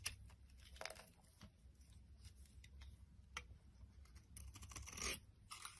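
A solid purple and white striped soap bar, held in the palm, is scraped and carved with a utility blade as flakes pile up. Quiet, dry scraping and crisp, bright crunching strokes come in uneven bursts over a low, steady hum. The loudest, longest scrape comes near the end.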